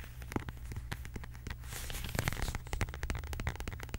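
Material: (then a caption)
Faux leather. A medium, flat, hollow beige quilted faux leather zip wallet is tapped and scratched with long acrylic nails. Quick, crisp clicks are heard over a low, rumbly undertone, with a brighter scratching texture in the middle of the clip.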